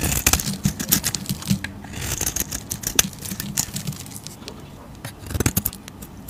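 A hand-held, hand-sized solid pink bar of soap with a printed rose design on its outer surface is scraped and carved with a metal razor blade, shaving off fluffy pink soap curls. The clip is a run of quick, crisp, bright scraping strokes with soft low handling bumps underneath. It is busiest at the start, quieter through the middle, and picks up again near the end.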